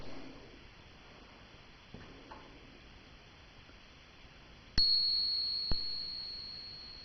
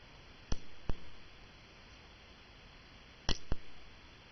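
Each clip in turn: First: real silver dollar coin. Second: cupronickel crown coin, not silver.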